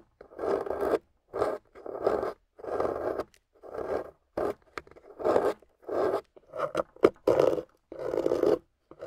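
A solid, water-soaked, gold-painted beige clay bar is scraped with a metal loop carving tool, curling clay off in about a dozen separate strokes. Each pass gives a short, gritty, midrange scratch with brief pauses between, some strokes longer and some quick.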